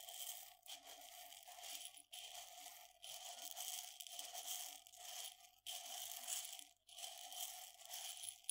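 Long fingernails tap on the rim and sides of a medium glass jar partly filled with dried mung beans. The result is a quiet, bright, crackly rattling with a steady tone around 700 Hz, coming in several bursts separated by brief pauses.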